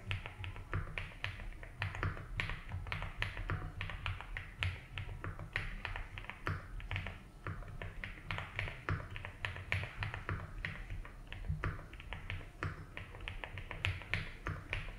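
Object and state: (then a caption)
Mechanical keyboard with ABS keycaps. Two hands type slowly and continuously with their fingertips on a compact 75% mechanical keyboard with a blue case and white and blue ABS keycaps. The result is a steady stream of short, crisp clacks, each dying away quickly, over a constant low hum.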